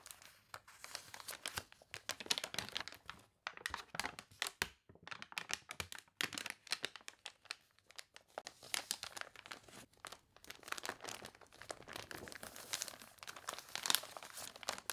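Fingertips and long nails rub and scratch the crinkly pages of a thick, glossy paper toy catalog, and a page is turned. The result is a quiet, steady stream of bright crinkling, rustling and scratching with almost no low end.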